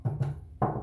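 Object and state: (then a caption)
Plastic machine part. Three taps on a plastic part of an Oxefit XS1 exercise machine. Each produces a short, dull, low-pitched knock centred around 140 Hz with almost no high-frequency content. The sound dies away quickly after each hit.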